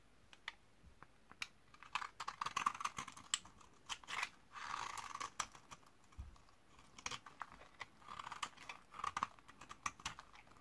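A solid rectangular bar of old white 72% laundry soap from 2012, dried for 8 years and held in one hand, is scraped and shaved along its edge with a metal utility-knife blade, peeling off crunchy curls and flakes. Dozens of sharp, dry crackling clicks come in quick clusters, with a few longer scraping passes that carry a bright rasp centred around 1 kHz.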